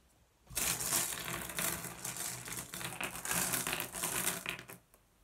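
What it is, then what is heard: Glass gem pebbles. Fingertips rake and shuffle a pile of small, solid, blue iridescent flat glass gems on a wooden surface. The result is about four and a half seconds of dense, bright clicking and clinking that swells and eases in waves before stopping to near silence.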